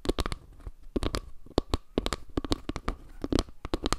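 Long nails tap and scratch along the underside and edge of a round panel made of wooden log slices, held edge-on above the microphone. A quick, uneven run of dry, sharp taps with a low thump behind them, each cut off almost at once, is broken by brief scratchy rasps with bright, crisp edges.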